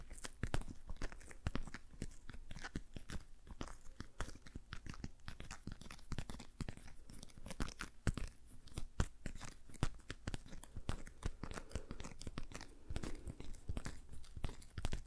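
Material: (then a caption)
Rubber. Fingertips and nails of one hand tap and rub the fingers of a thin, hollow, patterned pastel rubber dish glove worn on the other hand, empty except for that hand. A dense, steady run of short, crinkly, crunchy taps and rubs follows, each dying away almost at once, with most of the energy low and little brightness.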